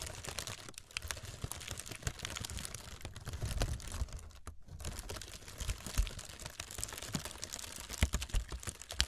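A roll of brown honeycomb kraft packing paper, hollow and airy, is scratched and tapped across its textured surface by long red nails. Dense, rapid clicks and soft crinkly scratches run continuously with a low, muffled body underneath, and a brief near-silent gap falls around the middle.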